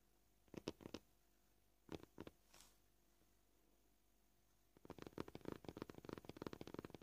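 Short purple-painted fingernails of both hands tap the top surface of a white, scratched, solid, flat plastic cutting board. Three quick clicky taps are followed by three more, the last softer. After a quiet pause, a fast, uneven run of dense tapping continues to the end.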